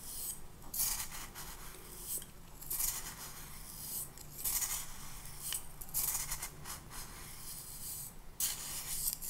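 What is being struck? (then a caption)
Glass cup with granular sand. A small clear glass cup of pink sand is held in the hand while the grains are stirred and rubbed against the glass, apparently with a clear plastic spoon. Bright, gritty rubbing and scraping comes in repeated bursts over a steady low hum.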